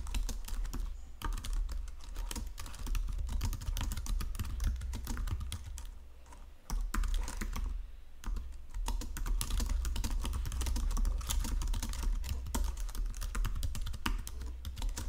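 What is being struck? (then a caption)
Plastic computer keyboard. Both hands use fingertips and short nails to type rapidly on a full-size white-and-silver plastic Logitech wireless keyboard lying flat on a marble surface, pressing and tapping the keys. A dense, steady stream of quick plastic clicks and taps rides over a low, thuddy body, easing briefly near the middle before picking back up.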